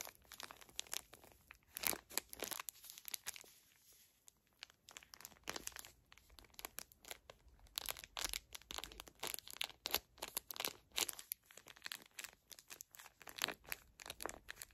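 A full small pocket pack of facial tissues in plastic film is crinkled and squeezed by long nails. Dense, bright, crackling crinkles come in quick bursts and are mostly high in pitch with almost no low end, and there is a brief quieter pause around the fourth second.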